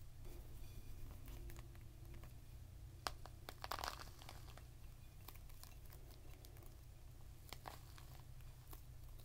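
A whole, full, fist-sized red pomegranate with a leathery rind is cupped in both hands and rubbed and scratched with the fingertips and short nails. Quiet, dry crinkling scratches and brief, sharp ticks are scattered over a steady low hum, with a brighter, denser burst of scratching about a third of the way through.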